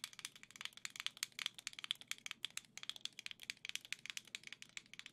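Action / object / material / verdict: tap / plastic game controller grip / plastic / none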